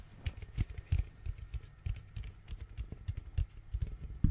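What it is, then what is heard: Plastic pumpkin bucket. An orange hollow plastic pumpkin bucket is tapped with fingernails on its base and walls close to the mic. The result is a quick run of light, dull, hollow taps, mostly low and thumpy, with short bright clicks on top, each dying away almost at once.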